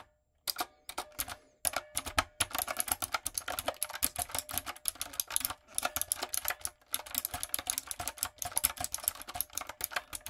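A backlit, typewriter-style mechanical keyboard with round retro plastic keycaps and a hollow body is typed on with long coffin nails and fingertips. It gives rapid runs of crisp, bright, clacky taps that die away almost instantly, with little low end and a faint steady tone underneath. Brief pauses fall near 0.5, 1.6, 5.6 and 6.8 seconds.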